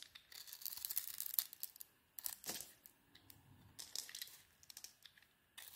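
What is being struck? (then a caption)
Solid soap bar scraped with a metal blade. A metal blade scrapes and shaves the outer layer off a zebra-patterned solid soap bar with a white core. Bright, crisp scraping and crinkly shaving bursts come in uneven strokes separated by short quiet gaps, with almost no low end.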